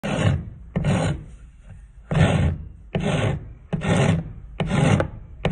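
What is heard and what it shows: A thin, solid turned wooden spindle, held by hand against a concrete floor, is rubbed back and forth with a steel half-round rasp as sawdust piles up. Six coarse, scratchy rasping strokes come in irregular bursts, each with a low, rumbling body and a bright hiss on top, separated by brief quieter gaps.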